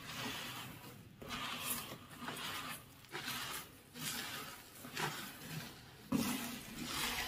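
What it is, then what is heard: Beach gravel with pebbles. Fingers with light nails rake and scratch through beach gravel of coarse sand, small gravel and a few larger smooth pebbles. Bright, gritty scratching strokes swell and fade at an uneven pace, with brief quiet gaps between them. A sharper crunch near the end stands out.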